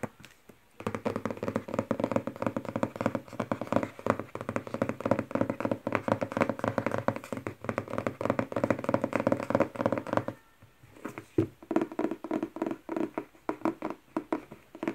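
A thick paperback novel with a glossy printed cardboard cover is tapped rapidly with long red-painted nails, first while lying flat on a wooden table, then while held upright with the back cover tapped. The solid stack of paper gives dense, dry, mid-pitched taps that die away almost instantly. After a brief pause near the end, the taps return sparser and more spaced out.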